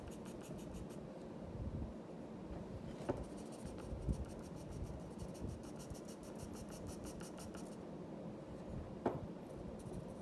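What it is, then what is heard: Pencil drawing on paper. The graphite tip of a black wooden pencil, held in the fingers, scratches across a flat sheet of white drawing paper lying on a wooden desk, making drawing strokes over a lioness sketch. A steady, soft, low scratching rasp runs throughout, broken by a few brief, sharper ticks as the pencil taps or catches on the paper.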